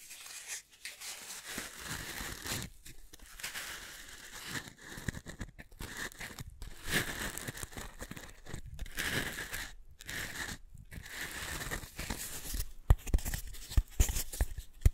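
A pair of identical small, solid pale pink foam cylinders, one held near each microphone, is scratched and tapped with long manicured nails. The result is a steady run of soft, crinkly scratching and rustling with bright grainy texture over a low rumble, broken by brief silent gaps and sharper taps toward the end.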